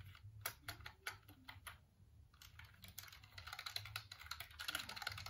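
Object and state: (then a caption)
Plastic computer keyboard. Fingertips tap and click the keys of a hollow black plastic computer keyboard held up close in dim light. Sharp, bright clicks start out spaced and irregular, then speed up into denser, busier tapping over a faint low hum.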